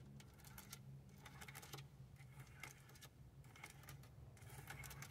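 Long acrylic nails tap and scratch along the display area and button row of a dashboard car radio's hard plastic front panel. Bursts of quick, bright clicks and scrapes come in clusters over a steady low hum.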